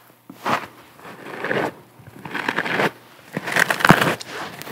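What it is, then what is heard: Porous sponge. Long nails scratch and squeeze a round, porous yellow sponge on a string held in both hands. The result is a series of soft, crackly, crunching bursts, each swelling and fading with quiet pauses between them.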